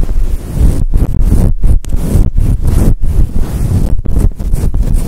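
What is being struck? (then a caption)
Synthetic fur microphone windscreen. Long acrylic nails and fingertips scratch a fluffy grey and white synthetic fur windscreen covering a microphone. The result is a dense, deep, muffled rumbling rustle that sounds almost like wind buffeting, broken by brief dips in level.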